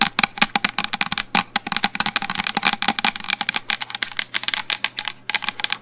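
A medium black plastic shampoo bottle is held upright near the microphone and tapped rapidly on its sides with long blue nails. The result is a quick, uneven stream of short, bright clicking taps that die away almost instantly, over a faint steady low hum.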